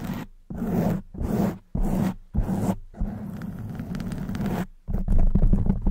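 Long white nails on both hands scratch quickly at a black foam windscreen on a silver microphone. Dense, rough scraping comes in short bursts with brief gaps, then runs on as a steadier stretch of scratching. The sound is heavy and rumbly in the lows, with a thin, bright hiss above.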